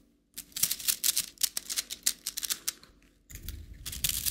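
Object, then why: Plastic coil spring toy. A plastic rainbow slinky, a coiled plastic spring toy held in one hand, is stretched and dropped back so its coils click together. About twenty quick, bright, dry clicks with almost no ring come in an uneven run. After a brief pause, a denser, continuous clattering follows with a faint low rumble beneath.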